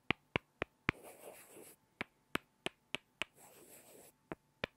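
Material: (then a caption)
Wood. Two small solid light-wood blocks are knocked together face to face by hand, giving eleven sharp, dry clacks that stop almost instantly with no ring. Between the knocks come two short stretches of soft, hissy scraping with a bright high edge.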